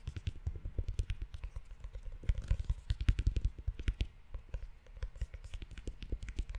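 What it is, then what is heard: Leather-covered notebook. Fingertips and short nails tap and scratch the cover of a closed, tan leather-bound notebook. Many quick, soft, low thuds come in a dense, uneven run, with brief bright clicks and scratchy ticks over them. The sound stays quiet and close throughout.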